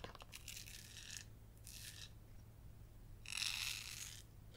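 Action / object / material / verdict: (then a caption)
scrape / glitter-coated glass candle jar filled with wax / glass / none. Long yellow acrylic nails tap and scratch the glittery outside and base of a gold glitter-coated glass candle jar filled with white wax. The result is bursts of bright, gritty scratching with light taps, the last burst the loudest, over a faint steady low hum.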